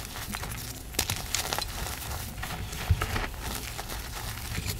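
Both hands with long black nails squeeze and rub white pieces of reformed gym chalk (magnesium carbonate) slab in a powder pile between large broken slab chunks, crushing the solid, crumbly material. Soft, gritty crunches and crackles come in a steady stream over a low rumble, with a few sharper crunch peaks along the way.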